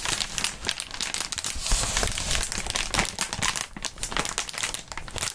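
A large, clear plastic inflatable air-column cushioning sheet with hollow air-filled tubes is held in both gloved hands and squeezed, crinkled, tugged and bent. It makes a dense, continuous, bright crinkling with sharper crackles and soft low thumps of the air tubes, keeping a fairly steady level throughout.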